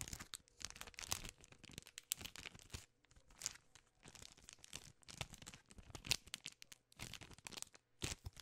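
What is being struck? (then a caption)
Plastic film candy bar wrapper. A full Crunch 4-piece candy bar in its plastic film wrapper is crinkled and scratched with long nails. The result is quiet, bright, dry crackling in quick, uneven bursts that fade instantly, with little low end.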